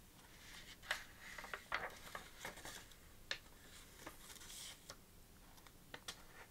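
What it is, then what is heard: Paper notebook pages. An open lined paper notebook with a sequin cover lies flat on a table while fingertips and long nails lift, flip and scratch its paper pages. Soft, irregular papery rustling and scratching is broken by brief, bright crisp ticks and flicks. The ticks stand out around 0.9, 1.8 and 3.3 seconds.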